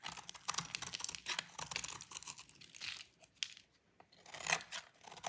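A utility knife blade scrapes crumbly flakes off a solid white oval bar of dry soap with a pink painted edge. The strokes make a crisp, bright crunching and scratching, like dry tearing, in bursts separated by short quiet pauses, with almost no low end.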